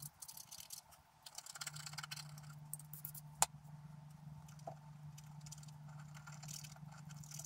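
A wooden stylus scratches away the black layer of a flat coated scratch art paper card while the other hand holds the card. Short, bright, dry scratching strokes come in quick bursts over a steady low hum, with one sharp click partway through.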